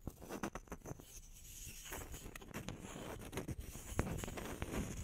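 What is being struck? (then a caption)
Small round wood slices. Long nails tap and scratch the cut faces of two small, solid round wood slices held flat on the palms. Soft, dry taps fall at an irregular pace over a quiet, papery scratching, with dull low knocks and no ring after each hit.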